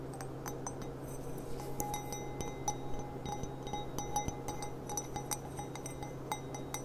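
An empty, clear stemmed glass goblet with a gilt rim is handled and turned while its bowl is tapped and clicked with long black-painted nails. Quick, light glassy clicks and chinks come in a steady patter, some leaving short bright rings. A constant low hum runs underneath throughout.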